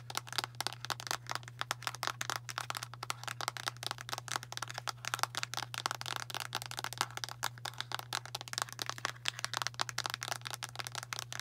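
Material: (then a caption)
Plastic. Long matte nails rapidly tap a medium, translucent light-blue plastic Tums antacid bottle with a blue plastic cap, hollow and filled with tablets. Dense, fast, bright plastic clicks and light rattles run throughout, each dying away almost instantly, over a steady low hum.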